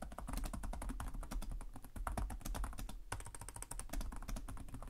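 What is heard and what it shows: Fingertips with short nails type continuously on the plastic chiclet keyboard of a black laptop resting on a desk. The result is a steady stream of rapid, short key taps: dull, low-weighted clicks with brief bright ticks on top and almost no ring.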